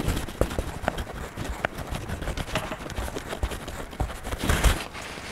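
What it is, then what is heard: Crayon strokes on a paper coloring book page. A hand rubs a wax crayon in short strokes over the paper page of an open coloring book on a desk. Repeated soft, scratchy strokes sit over a low, dull rumble, with brief sharper scrapes throughout and a louder, brighter rubbing swell near the end.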